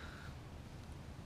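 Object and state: Nothing is struck.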